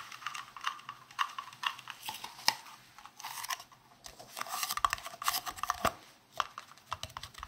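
A palm-sized, hollow, green translucent round plastic case is tapped and scratched with fingertips and nails close to the microphone. Quick, dry clicking taps mix with bright scratchy rustles, with almost no low end and no ring after each hit.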